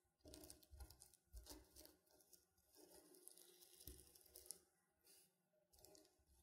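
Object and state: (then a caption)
Sequin fabric pillow. Fingernails pick at and scratch individual sequins on a reversible sequin pillow with a silver sequin drawing, flipping them over. The sound is a quiet, continuous patter of bright, crisp scratches and tiny clicks, with soft low rubbing underneath and brief pauses between bursts.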